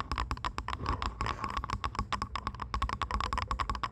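Long nails tap rapidly on the headband and earcups of purple plastic over-ear headphones resting on a microphone. The result is a dense, uneven run of short, dry plastic clicks with a faint tonal ring around 1 kHz and soft low thumps beneath. Each tap dies away almost instantly.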